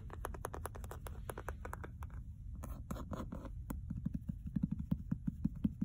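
Long nails scratch and tap the cover and edges of a solid red leather-bound hardcover book with a gold-embossed geometric cover, lying flat on carpet. Quick dry scratching strokes run through the first few seconds, then give way to sharper, low, dull taps that close with no ring.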